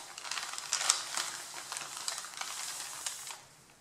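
Both hands press, rub and crinkle the top sheet of a pile of white printed paper. A dense, bright, crackling rustle with sharp little crinkles runs steadily throughout. It fades to quiet near the end.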